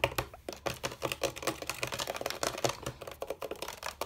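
Fingertips of both hands quickly tap and drum on the hollow bamboo rails of a rattan/bamboo chair. The result is a rapid, continuous patter of short, dry, hollow knocks centered around 560 Hz, each dying away almost at once.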